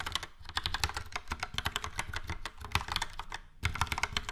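Fingertips type rapidly on a yellow and grey Logitech POP Keys plastic mechanical keyboard with round plastic keycaps and hollow switch housings, tapping many keys. The result is a dense stream of short, bright clacks over a hollow low thud, with a brief lull near the end before the typing picks up again.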